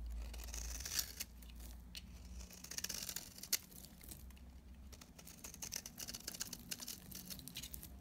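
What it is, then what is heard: Dry bar soap. A utility knife blade shaves brittle, dry flakes off a solid pink bar of very dry soap held in the hand. The sound is crisp and crackly, with bright scraping and frequent sharp snaps over a quiet low hum.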